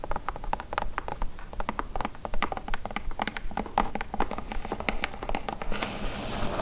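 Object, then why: Corrugated cardboard box. Long acrylic nail tips tap rapidly on a large, hollow, brown corrugated cardboard shipping box, making quick, dry, clicky taps with a hollow, papery tone and no ring. The tapping runs at an uneven, fast pace, then gives way near the end to a steadier, brighter scratchy hiss.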